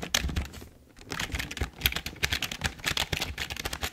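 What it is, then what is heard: Plastic computer keyboard being typed on. Both hands type with their fingertips on a full-size, hollow, black plastic Logitech keyboard, producing a quick run of bright, short clacks with a hollow low thump beneath them. The typing pauses briefly near the start, then continues steadily with dry, close keystrokes that fade almost instantly.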